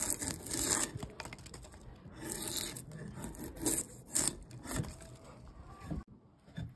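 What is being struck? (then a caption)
Wooden log with bark. A metal blade, a chisel or drawknife, is scraped along a solid round log about a forearm thick, partly stripped of bark and resting on a wooden workbench, peeling off bark as shavings fall. Rough, bright scraping and tearing strokes come in repeated bursts with a gritty low rumble underneath. The clip falls quieter near the end.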